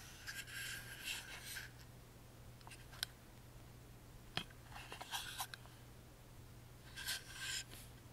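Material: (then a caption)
Wood. Fingertips and short nails rub and scratch the cut-out patterned sides of a tiny hollow carved wooden music box with a metal crank. Quiet bursts of bright, raspy scratching come in three stretches, with a few sharp, dry ticks in between. A steady low hum sits underneath throughout.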